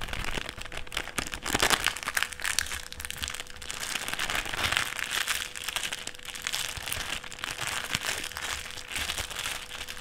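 Fingertips fold and flatten a thin clear plastic sheet on a table, producing a steady stream of bright, crisp crinkling and crackling with short sharp snaps. The sound stays dense and continuous for the whole clip, with no clear pauses between the crinkles.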